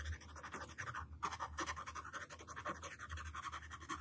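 The yellow wooden pencil tip drags across a flat white paper sheet on a table, drawing lines and letters. Quick, irregular scratchy strokes follow one another continuously, with a raspy band centered around 1.1 kHz, bright hiss above it, and a faint low hum underneath.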